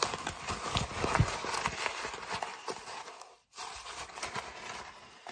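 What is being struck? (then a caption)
Kraft paper mailer bag. An empty brown kraft paper mailer bag is crumpled and crinkled with fingers, giving a dense run of dry, bright rustling crackles with occasional soft low thumps. The crinkling fades to a brief silence partway through, then resumes at a lower level.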